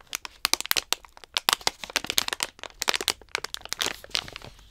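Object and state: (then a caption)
Plastic treat pouch. Long nails tap and scratch the front of a medium-size Bakers Allsorts stand-up plastic pouch filled with dog treats, held upright. A quick, uneven run of sharp, bright crinkling clicks and scrapes follows, with almost no low end. Each hit dies away at once.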